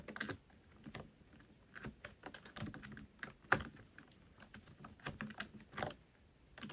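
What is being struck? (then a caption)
Plastic computer keyboard. Both hands type with their fingertips on a full-size black plastic computer keyboard resting on a wooden desk. The result is a quiet, irregular run of short, sharp plastic key clicks, with an occasional louder tap against a soft, steady background hiss.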